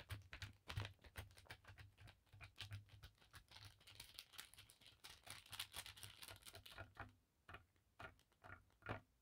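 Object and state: Cotton bandana tapped and scratched with nails.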